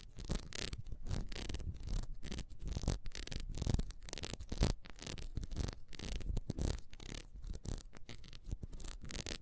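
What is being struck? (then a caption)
Ribbed beeswax candle. Long nails scratch fast across the rings of a solid ribbed beeswax candle held sideways. The result is a dense, rapid run of dry, scratchy rubbing bursts with a low, thumpy body and little ring, steady throughout with no voice.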